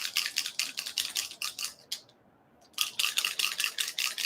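A spray bottle of mica ink is shaken so the mixing ball inside rattles, stirring up pigment that has settled to the bottom. Quick, bright clicking rattles come in bursts, with a brief pause in the middle before the shaking resumes. The rattle shows the ink is mixing, as it should.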